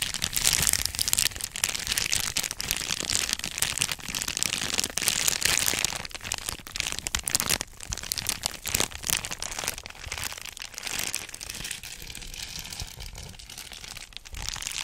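A flat, thin, likely empty white-and-blue Amazon Prime padded mailer envelope (plastic or paper) is held in both hands close to a microphone and crinkled and bent with the fingers. Dense, bright crackling and crinkling rustles run steadily through the clip, loudest in the first six seconds and then softer and sparser. The sound is dominated by high, crisp crackle with little low end.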